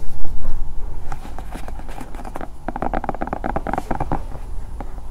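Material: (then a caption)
Silicone. A hand-sized, hollow, bear-shaped silicone night lamp standing over the microphone is scratched and tapped with long painted nails. The result is a run of soft, muffled, fast irregular taps and scratches with short dull decay and a heavy low-end rumble, loudest at the start and then steady.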